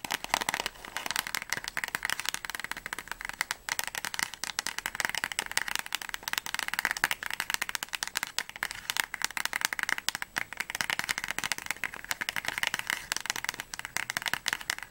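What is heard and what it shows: Long nails rapidly tap and scratch the top and sides of a small, hollow, closed white and orange cardboard Paracetamol box held in both hands. The result is a dense, steady stream of quick, dry clicks and scratchy rustles, bright and thin with almost no low end and no ring after each tap.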